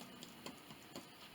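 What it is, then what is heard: Hollow-sounding baked bread loaf (baked through). A low-carb pork rind pumpernickel loaf, after 45 minutes in the oven, is tapped three times in its pan, giving soft, hollow knocks. The hollow sound means the loaf is baked through, a much better result than the failed first attempt.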